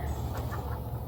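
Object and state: Nothing is struck.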